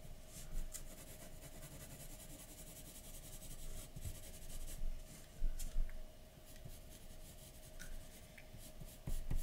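A graphite pencil held in the fingertips scratches and rubs short shading strokes around the eye and nose of a drawing on a large, flat white paper sheet resting on a dark table. The result is a quiet, continuous dry scratching and rubbing, with a faint steady hum beneath it and a few louder, brief bursts of strokes.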